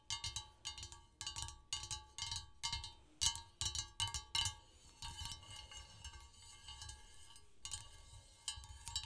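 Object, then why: Glazed ceramic serving dish. Long pointed acrylic nails tap rapidly on an empty, large glazed green ceramic serving dish shaped like three holly leaves, resting on a red cloth. Bright, clicky taps with a short glassy ring come in quick clustered bursts, soften to a lighter patter midway, then pick up again at the end.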